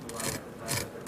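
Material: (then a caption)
Fried potato. A microphone is held close to 1,000-layer canapé potatoes, fried layered potato, for a crunch test. Two bright, brittle crunching bursts with a rough, rasping texture are heard, short and dry with almost no ring. The crunch shows the layered potatoes are crisp.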